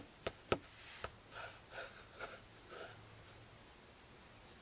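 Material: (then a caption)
Cloth, board. Fingertips and index fingers tap the cover of a closed, maroon, cloth-covered hardcover spiral notebook near its label. Four short, dull taps stand out, three close together at the start and one at the end. Between them come several soft, breathy swishes.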